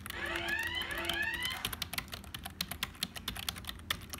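A black, hollow, full-size HP plastic computer keyboard is typed on with fingertips, ending with one finger pressing the keys. The first second and a half carries a warbling, sweeping tonal sound over a steady low hum. It then gives way to a fast, uneven run of sharp, bright plastic key clicks with a hollow rattle.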